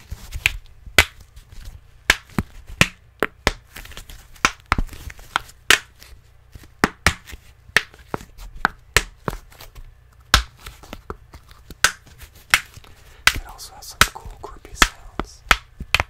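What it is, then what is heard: Foam can koozie being tapped. Fingertips tap and scratch on an empty, hollow black neoprene foam beer can koozie. About 27 sharp, dry taps with a bright click and very short ring are heard, separated by soft scratching, over a steady low hum.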